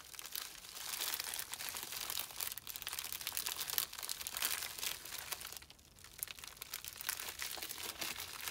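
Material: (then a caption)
Plastic. A small white poly bubble mailer, hollow and holding a small item, is squeezed and crumpled by both hands with fingertips and thumbs. The result is a dense, bright crinkling and crackling of the plastic that is nearly continuous, with only a brief lull near the six-second mark.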